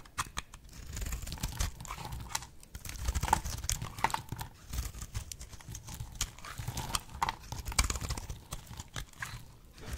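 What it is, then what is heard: Dry bar soap being cut. A box-cutter blade slices through a solid, oval, pale pink bar of dry soap held in the hand, snapping off brittle chips. Rapid, crisp clicks and crunchy cracks come in a steady, uneven run over a low, dull rumble, each snap dying away almost instantly.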